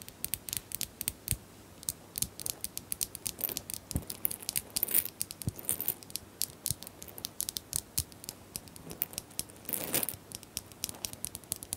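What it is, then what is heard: Small plastic bottles. Small plastic bottles are tapped in a quick, continuous run of light, crisp clicks and ticks. The sound is bright and dry, with each tap dying away almost instantly, and a few faint, sustained rustling swells come and go underneath.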